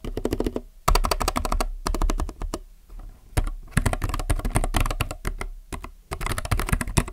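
Fingertips type on a plastic mechanical keyboard, producing bursts of rapid, short clicky keystrokes with a deep, low-heavy thock and bright tick edges. Brief pauses separate the typing runs.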